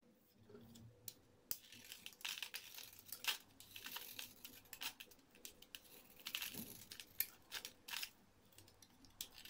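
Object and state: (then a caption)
Bar soap being shaved with a blade. A hand-sized, solid rectangular orange bar soap with an embossed logo is held in the fingers and shaved with a blade into curled flakes. Quiet, bright, crisp scraping and crackling strokes come in quick, irregular bursts, each dying away almost instantly.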